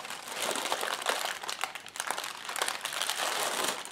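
Fingertips and long painted nails press, tap and scratch across a long strip of clear, hollow, inflated polyethylene air-pillow packing cushions lying on a white table. The result is a continuous bright crinkling and crackling of plastic with many quick taps and scrapes, with almost nothing in the low end.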